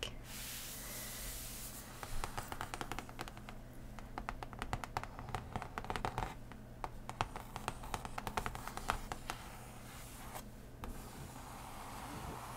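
Long nails on both hands scratch and tap a large, folded, printed cardboard game board lying flat and solid on cloth. Quick, dry clicks and scratchy strokes come in dense bursts, each dying almost instantly, over a steady low hum.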